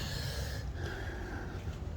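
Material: Nothing is struck.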